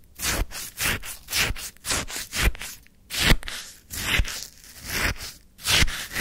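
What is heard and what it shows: A wooden stick stirs and scrapes through a white paper cup full of frozen, icy lemon sherbet. It makes a steady run of short, crunchy scraping strokes, each a bright gritty crunch with a soft low thump underneath, with brief quiet gaps between them.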